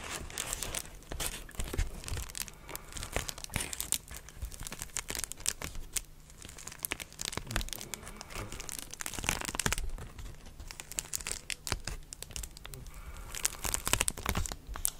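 A clear plastic bubble wrap sheet is held close to the mic and squeezed, crinkled and scratched with long dark nails. It makes a steady, dense stream of crackling and crinkling, with sharp bright snaps over a soft low rumble of handling. Each crackle dies away almost at once.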